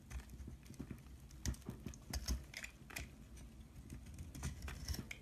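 A solid pink bar of soap held in the hand is carved and scraped with a utility knife blade, with shavings falling away. Quiet, irregular scraping and crisp clicking cuts repeat throughout, with soft low thumps under brief bright crackles.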